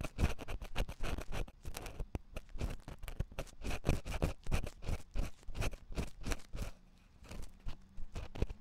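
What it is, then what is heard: Silicone microphone ear being scratched. A wooden ear pick scratches inside the ear canal of a white silicone ear on a 3Dio binaural microphone. Quick, close scratching strokes come as rapid bursts, heavy with low, muffled thumping and a faint bright crackle. The strokes briefly ease and go quiet near the seven-second mark before resuming.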